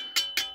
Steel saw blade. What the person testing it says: c'est pas un acier super qualité. Regardez. On voit, ça sonne un peu bizarre